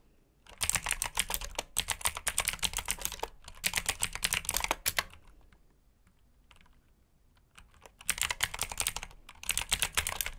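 Fingertips of both hands type on a black mechanical keyboard with plastic keycaps, producing rapid, bright clicking keystrokes. Bursts of fast typing are separated by a quieter stretch of a few scattered taps in the middle before the typing resumes.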